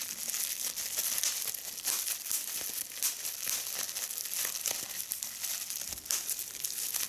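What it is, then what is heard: Plastic bubble wrap. A small, hollow piece of clear, air-filled plastic bubble wrap is held in both hands while the bubbles are pinched and popped with fingertips and long red nails. The result is a steady run of bright crinkling and sharp little pops, with quick transients standing out from a dense, high-pitched rustle.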